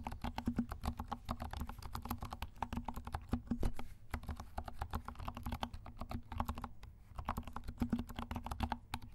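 A compact 68-key mechanical keyboard with dark plastic keycaps and silent switches is typed on rapidly with the fingertips of both hands. It makes a steady stream of soft, muted, low thocking key presses, with short lulls near 4 and 6.8 seconds.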